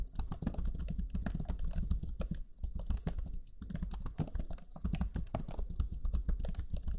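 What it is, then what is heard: Plastic laptop keyboard. Fingertips of both hands type rapidly on the black chiclet keyboard of a Lenovo Legion 5 laptop, pressing its low-profile plastic keys. The result is a steady, dense patter of short, soft, muffled taps, heavy in the low end, with each key press dying away almost instantly.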